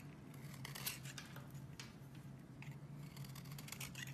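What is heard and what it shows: A metal box-cutter blade scrapes shavings off the edge of a solid oval green bar of soap held in one hand with long red-painted nails, the shavings falling onto a white surface. Quiet, crisp, bright scraping strokes come in a steady run over a constant low hum.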